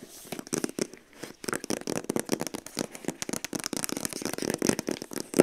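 Long acrylic nails rapidly tap and scratch across the long, flat, hollow printed cardboard sleeve of a TYMO Ring hair straightener box, which lies on the floor and is then picked up. The result is a fast, dense run of short, dry, papery clicks and scratchy rasps with a hollow midrange body around 370 Hz and a bright crinkly edge.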